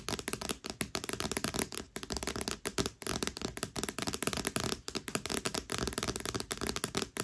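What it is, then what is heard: Paperback book with glossy cardstock cover. Long fingernails tap and scratch rapidly across the front of a thick paperback book with a glossy cardstock cover. The result is a dense, continuous run of crisp, bright clicks and papery scrapes with very short decay, broken by brief pauses.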